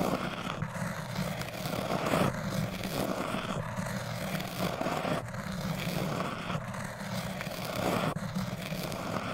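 A metal crochet hook is pressed against a tall orange hard foam cylinder and scraped across its surface. The result is a continuous, gritty scratching with repeated stroke-like swells, sitting over a steady low hum.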